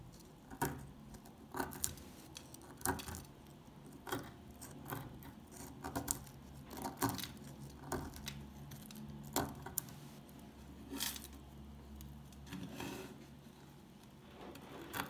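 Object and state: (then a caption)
Old dry soap bar. An old, solid, dry orange-brown soap bar is picked at with a metal pick and then turned over in the hand. Many short, bright crunching and scraping clicks stand out over a low, steady background rumble.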